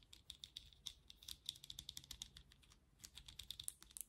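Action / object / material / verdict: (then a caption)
tap / plastic vented hairbrush / plastic / none. Long nails tap the vented back of a black plastic vented hairbrush, then tap and scratch its handle. A quiet, rapid series of sharp, bright plastic clicks with a high ringing tone, each dying away almost instantly, with a softer scratchy stretch between bursts of taps.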